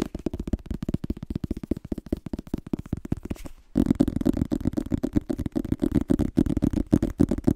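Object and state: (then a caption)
Paperback book cover. Fingertips tap and scratch the front of a small, solid illustrated paperback book with a glossy cardboard cover, held in one hand. Quick, dry, muffled taps run for almost four seconds. After a brief pause, a louder, denser stretch of tapping and scratching follows.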